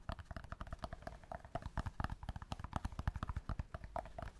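Fingertips and nails tap steadily on a small rectangular block of solid natural cork held in both hands close up. The result is a rapid, irregular run of short, dull, low thuds with a faint midrange click, each dying away almost instantly with no ring.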